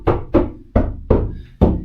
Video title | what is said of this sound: Technically Homeless Van Build: Episode 1 | you can hear that I've definitely dampen the sound